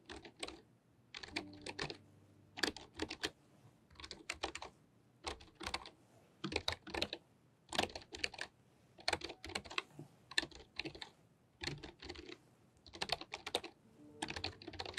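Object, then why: Plastic membrane computer keyboard. Fingertips with long painted nails type on a full-size white plastic membrane computer keyboard with pink flat plastic keys, resting on a fluffy rug. Quick bursts of light, bright plastic clicks and taps come in uneven clusters separated by short pauses. Each keystroke is dry and stops almost instantly, with no ring.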